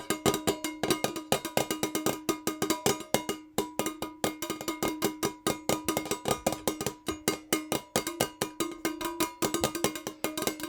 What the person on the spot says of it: tingly fast but NOT aggressive metal jar nail tapping